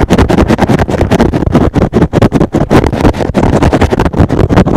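A rectangular, hand-sized green and blue synthetic foam sponge, soft and porous, is held in one hand and scratched fast on top with fingertips and short nails. It produces a rapid run of dense, scratchy rustling bursts with a heavy low body and little brightness, each stroke ending abruptly with almost no ring.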